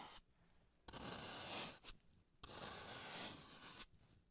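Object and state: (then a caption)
Floral foam block being carved. A solid green floral foam block, held in gloved hands, is scraped and carved with a slim carving tool. Two long, bright, gritty scraping strokes rasp across the foam, each ending in a short crisp scratch, with quiet pauses between them.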